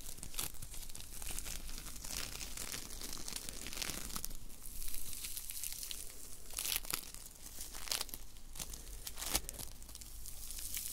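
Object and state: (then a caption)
Foam bead clay. A palm-sized lump of solid, soft blue foam bead clay (floam) is held close and squeezed, pressed and rubbed between the fingertips of both hands, which have long manicured nails. The result is a continuous stream of crisp crinkling and crunching, with sharp bright crackles popping out over a low, steady rumble.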